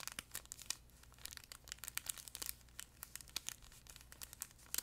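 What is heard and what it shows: Fingertips and nails scratch and squeeze a flat yellow plush duck pet toy, soft fabric over a crinkle insert, close to the mic. The result is a quiet, steady stream of rapid, irregular crinkles and papery crackles, bright and high with almost no low end. Each snap dies away almost instantly over a faint soft rustle.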